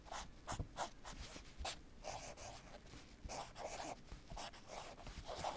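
A fingertip or small tool traces and scratches along the printed Babolat lettering on a black padded nylon tennis racket cover. Soft, dry scratching strokes come in repeated short bursts, with a mid-range rasp and airy high hiss over faint low bumps. The sound stays quiet and close throughout.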